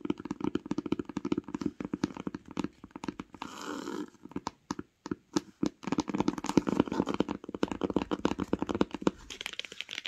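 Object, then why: Cloth-bound hardcover book. Long pink nails tap rapidly on the cover of a grey cloth-bound hardcover book lying flat and solid. The clip is a dense stream of short, dry, crisp clicks, broken by a brief scratchy rustle near the four-second mark and a few short pauses.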